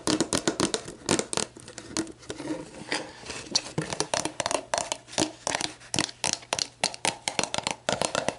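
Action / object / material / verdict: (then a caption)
tap / plastic drink bottle / plastic / none. Long black nails tap and scratch a clear, labeled plastic sports drink bottle that is hollow and mostly empty, first standing upright and then lying on its side. Rapid, crisp, hollow clicks with almost no ring mix with bright scratching and brushing across the plastic, centered around a mid tone near 540 Hz.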